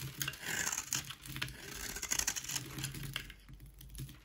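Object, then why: Bar soap scraped with a knife blade. A solid white Dalan rectangular bar soap, held in the hand, is scraped with a utility knife blade into dry flakes. A fast run of crisp, bright scraping and crackling strokes comes with a faint low rumble underneath, each stroke dying away almost instantly.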